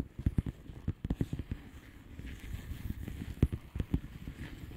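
Long painted nails on both hands tap a flat blue plastic bubble wrap envelope filled with air bubbles. Quick, dull, low thuds with almost no ring come in a flurry, thin out into a soft rustling stretch, then return in a few sharper taps near the end.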